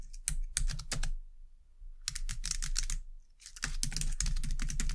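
Both hands type on a white low-profile plastic computer keyboard with long dark-painted nails and fingertips, producing quick, bright, dry clicks over a soft low thud. The keystrokes come in three irregular bursts separated by short pauses, with each click dying away almost instantly.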